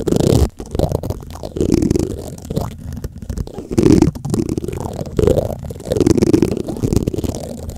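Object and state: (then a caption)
Metal microphone mesh grille rubbed with plastic spoons. White plastic spoons rub and scrape across the black metal mesh grille of a large condenser microphone. The result is a continuous, muffled, low rumbling scratch that swells in uneven bursts, with a tonal hum around 300 Hz and almost no bright content.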